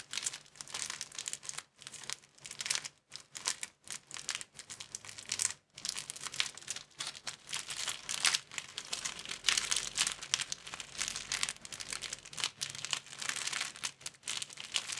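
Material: Plastic film.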